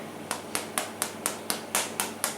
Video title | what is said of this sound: How To Make The Best Homemade Bread Recipe EVER!!!! | tap it with a spoon and it sounds Hollow you don't want it to sound dense you want it to sound hollow